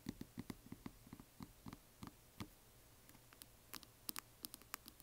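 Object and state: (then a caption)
Resin coffin box tapped with nails. Long nails tap a closed, hollow yellow glitter resin or plastic coffin box as it is moved from upright to flat. About twenty quick, dry clicks follow, each with a low hollow knock and a bright tick that stops at once. The taps grow sparser in the middle and brighter near the end.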